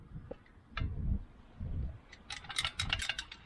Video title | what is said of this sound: Can I Make This Old Mower Run Again? (John Deere 56 Restoration PT.2) | as you can hear, something in that is broken